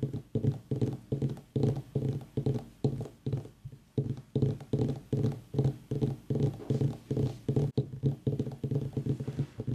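Fingertips and nails of both hands tap rapidly on the top of a whole white ribbed mini pumpkin with a long dry stem. The result is a quick, uneven run of short, low, dull knocks with a faint clicky edge, each fading within a fraction of a second.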